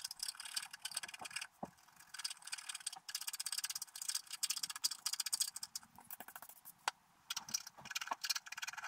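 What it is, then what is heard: Wax-coated scratch art card. A wooden stylus scratches the grass along the lower edge of a flat, wax-coated scratch art sheet lying on a table, with the hands resting on the sheet throughout. Quick bursts of dry, bright scratching come in rapid strokes, broken by brief quiet pauses.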